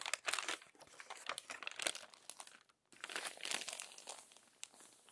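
Crumpled pages of an open glossy paper magazine are smoothed and turned by hand, producing dense, bright crinkling and crackling with no low end. The rustling comes in bursts, drops to near silence for a moment just before three seconds, then resumes more softly.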